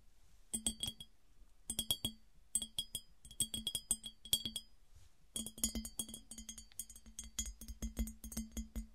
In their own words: 08:14 - 13:30 - Tapping on smooth glass piggy bank